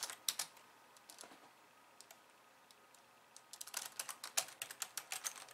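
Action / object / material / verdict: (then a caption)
tap / plastic computer keyboard / plastic / none. Long nails type two-handed on a pink plastic slim keyboard with white keys, giving about twenty short, bright clicky taps with almost no ring. A quick burst of keystrokes opens, then a quiet stretch with only scattered light taps, then a dense flurry of typing to the end.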